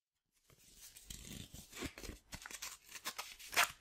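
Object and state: Sandpaper sheet being flexed.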